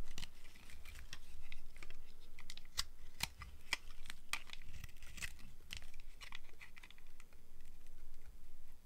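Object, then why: Dry soap bar. A box cutter blade scrapes and shaves the surface of a solid bar of dry purple and white striped soap held in one hand. Short, dry scraping strokes with bright edges come in a quick, uneven series over a low rumble.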